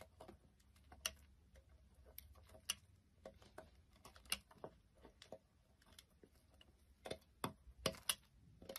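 A solid beige bar of soap, already cut into chunks, is held by hand on a wooden surface and scraped and cut with a knife blade. Quiet, bright, crisp clicks and ticks sound at irregular intervals, each dying away almost instantly, over a soft low background hum.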